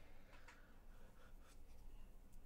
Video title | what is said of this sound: Livestream - just building some Carbon Fiber mechanical keyboards | I'm shaking this right by the microphone there's no noise at all left in there